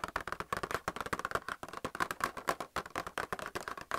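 Fingernails rapidly tap the clear plastic blister holding white plastic paint palettes on a cardboard card, held in the hand. About 25 quick, dry, hollow clicks ring out, with a mid-pitched plasticky tone around 1 kHz and almost no decay between taps.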